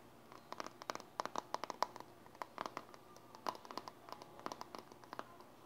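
Long dark-painted nails scratch and tap the lid and side of a small, hollow, round metal Silly Putty tin with a pink printed label on the lid, held in one hand. The result is a quiet, irregular run of quick clicks and scratchy taps, each with a faint tinny ping around 1 kHz that dies away almost instantly, over a soft hiss.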